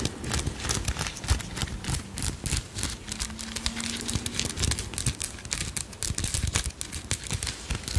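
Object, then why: Metal brooch set with stones. A solid, palm-sized insect brooch of silver-tone metal, with turquoise-colored stone wings and faceted blue stones, is scratched and tapped with long nails while held close to the mic. The result is a dense, steady stream of sharp, bright clicks and dry scratching, with a low rumble underneath and a brief faint hum partway through.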